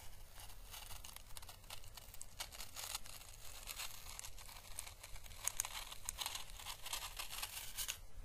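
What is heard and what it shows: A small, pale green, hollow, papery dried Chinese lantern husk is held by the fingertips and brushed with a paintbrush along its thin, dry surface. Soft, bright crackling and crinkling rustles come in quick bursts of strokes over a faint low rumble, staying quiet and steady throughout.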